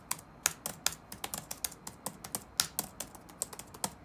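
Fingertips type rapid key taps on the black plastic keys of an open laptop resting on a wooden desk. About 20 short, dry, bright clicks land at uneven intervals, each dying away almost instantly with very little low end.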